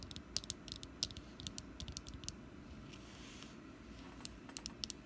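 Long nails tap and scratch the face side of a small, solid orange wax jack-o'-lantern candle that has been picked up and held in the hand. Quick, bright, clicky taps stand out over a steady soft scratching with a low rumble beneath. Each tap dies away almost instantly.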